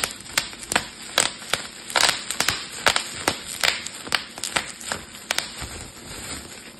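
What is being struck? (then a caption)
Plastic bubble wrap sheet. A clear plastic bubble wrap sheet is crumpled while its bubbles are popped with fingertips and thumbs. About twenty sharp, bright pops come at an uneven pace over a steady crinkling rustle. Each pop snaps off almost instantly with no ring.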